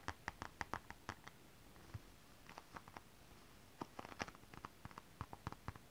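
Long acrylic nails scratch and click across holographic mermaid scale fabric, an iridescent foil scale-print stretch fabric, seen up close. Quiet, dry, sharp nail ticks with a bright edge come in quick clusters, lighter scratches fill the middle stretch, then a second run of crisp clicks follows.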